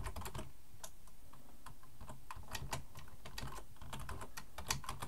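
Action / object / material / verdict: tap / plastic computer keyboard / plastic / none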